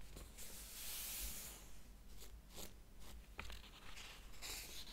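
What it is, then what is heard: Paper pages of a hardcover book. Fingertips and nails rub and lightly scratch across the paper pages of a large open hardcover book. The result is a soft, dry, bright brushing texture with brief scratchy strokes over a low, steady hum.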